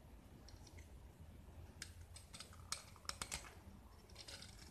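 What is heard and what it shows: A small solid gypsum block painted blue is held in the hand and shaved with a metal utility knife blade, exposing white plaster underneath. Quiet, dry scraping is broken by several sharp, bright clicks and short scratches over a low steady background rumble.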